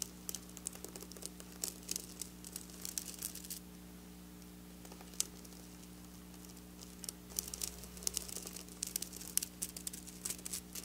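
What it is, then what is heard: Sequin fabric tapped and scratched with nails. Long black nails tap and scratch across flat silver sequin fabric, making bright, dry crinkling clicks and rustling scrapes in quick bursts. The activity pauses for a few seconds in the middle before resuming, all over a steady low hum.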